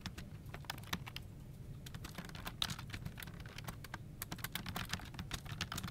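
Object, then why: Plastic computer keyboard. Both hands type continuously with their fingertips on a full-size plastic office keyboard resting on a desk, its hollow plastic case and key switches giving dense, fast, bright key-press taps that die away almost instantly. A steady low rumble runs underneath the clicking throughout.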